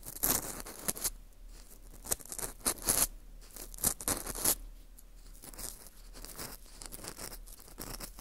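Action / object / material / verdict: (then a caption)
scrape / dried wheat gluten (fu) ring / wheat gluten / none. An orange plastic earpick scrapes inside the hole of a porous dried wheat gluten ring (fu) held in gloved hands. Dry, crisp scratching comes in quick irregular bursts, with bright, hissy high content and short clicks that fade almost instantly. Quieter rustling runs between the louder strokes.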